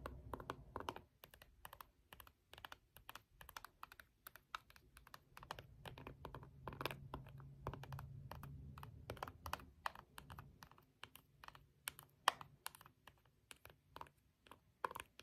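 A green jade face roller, with a stone head on a metal frame, is pressed and rolled across the colored rubber buttons of a small handheld plastic IR remote for an LED light, held in one hand. It makes a quick, irregular series of short, dry click-like taps, like typing on a keyboard. A faint low hum runs underneath through the middle of the clip.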